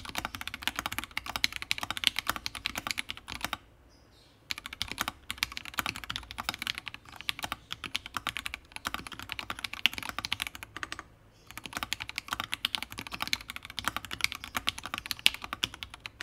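A Fusion60 60% mechanical keyboard with FFFF switches, a heavy case, a brass plate and plastic keycaps, resting behind a wooden wrist rest, is typed on steadily with the fingertips of both hands. Rapid, bright, crisp keystrokes clack in a dense stream with little low end. The typing breaks off in two brief pauses, around the 4- and 11-second marks.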